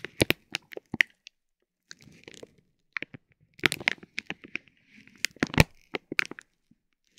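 A metal ball-tipped stick presses and rubs the clear, soft vinyl plastic film of a bag wrapped around a tape roll. It makes a series of short, sharp crinkles and crackles with quick bright snaps, separated by soft rustling and brief pauses.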